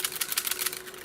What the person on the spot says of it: there's some metal like pins in there that hold it together so before I take it apart if I shake it you can hear those pins